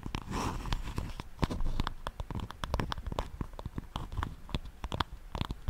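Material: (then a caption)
Wood. Long nails tap and scratch the surface of a solid wooden paddle hairbrush held close to a microphone. A quick run of dry, sharp clicks follows, with short scratchy strokes between them. Each tap dies out almost instantly, leaving a close, low-heavy knocking texture.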